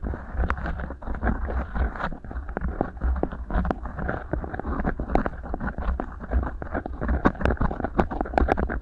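Fingertips and nails pinch, rub and scratch two matching rolled beeswax-coated cotton food wraps shaped into hollow tubes and fitted over the microphone capsules. The result is a dense, continuous stream of close crinkly crackles, soft scrapes and sharp little ticks over a heavy low rumble, with occasional brighter snaps.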